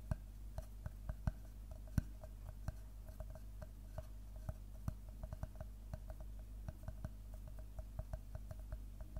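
Fingertips and nails scratch and rub across the cut face of a large, round slice of solid tree trunk. Short, dry clicks and ticks come at an irregular pace over a quiet, steady low hum, each one dying away almost instantly.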